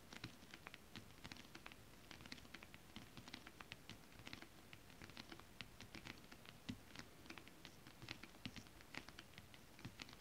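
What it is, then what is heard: Holographic scale-print stretch fabric. Long acrylic nails scratch and tap across flat, holographic mermaid scale-print stretch fabric. Quick, quiet, dry ticks with bright, crisp tops ring out in an irregular stream over a soft, low, rustling scratch. Each tap dies away almost instantly.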